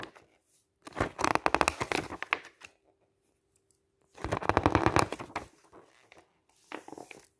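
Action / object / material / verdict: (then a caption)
scrape / glossy paper magazine / coated paper / none. Fingertips wearing a ring lift, flip and smooth down the pages of a thick glossy paper camping guide lying open on a table, turning and rubbing the paper. Two loud bursts of crisp, crackly rustling and scraping sweep across the range into bright highs, with a shorter, softer flutter at the end. A faint steady low tone hums in the quiet gaps.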